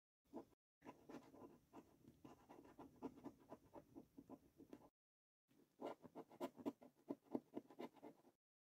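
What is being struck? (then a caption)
Paper scratch card scraped with a coin. A coin held in the fingers scrapes the latex coating off the game panels of a thin paper £20 "10x £250,000 GOLD" National Lottery scratch card resting on a wooden table. Quick, soft, dry scratching strokes come about four per second in two runs separated by a short pause. The sound is muted and midrange-heavy, with little deep or bright content.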